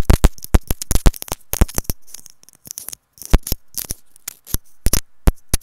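Long manicured nails tap and scratch a small, hollow white plastic inline remote/mic on a white earphone cable held in the fingers. Rapid, irregular sharp clicks with a low thump land close up, mixed with brief bright scratching, and a short quiet pause falls midway.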